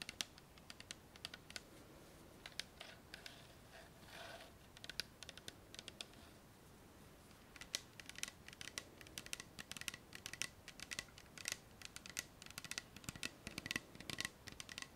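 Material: Plastic.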